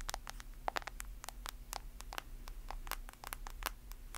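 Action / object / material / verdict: tap / smartphone in a plastic case / plastic / none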